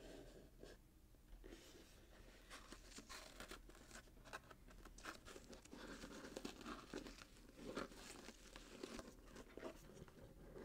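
Fingertips and short nails scratch and tap a small, hollow, closed cardboard box wrapped in gold glitter-striped paper with a satin bow, held in both hands. The result is a quiet, continuous stream of crinkly paper scratching, punctuated by soft, short, dull taps.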